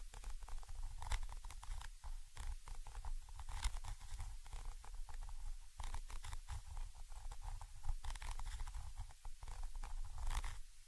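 A thin orange stick scratches and taps the metal mesh grilles of a Zoom H5 X/Y microphone capsule. The result is close, boomy low-end thumps and rumbles mixed with dry, crackly scratching and brief bright ticks throughout.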